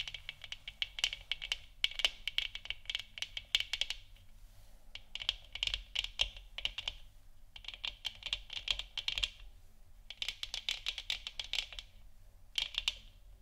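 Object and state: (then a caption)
Plastic moon lamp. Long nails tap rapidly on the top of a large, hollow, 3D-printed plastic moon lamp sphere that is lit orange. Quick, dry, clicky taps come in bursts separated by short pauses, each with a bright, high tone centered around 3 kHz that dies away almost instantly.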